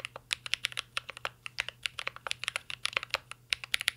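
A full-size mint-green Cyberboard R3 mechanical keyboard with a metal case, plastic keycaps and Holy Panda switches rests on a desk while two hands type steadily with their fingertips. The result is a quick, continuous stream of crisp, bright clacks with almost no low end, each keystroke dying away instantly over a faint steady hum.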